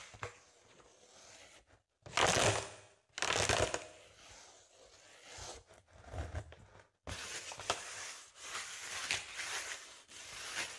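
A spoolie brush scratches and brushes across the surface of a large, inflated blue metallic foil (mylar) balloon. Bursts of bright, crinkly scratching swell and fade with short pauses between them, and the sound turns into a steadier rustle toward the end.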